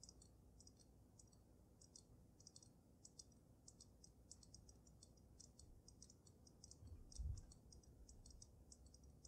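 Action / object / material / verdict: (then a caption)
tap / water-filled glass snow globe / glass / none. Long nails rapidly tap the sides of the glass dome of a water-filled dragon snow globe, making quick, bright, ticking clicks in irregular clusters over a soft low rumble. A brief, louder low thump rises near the seventh second.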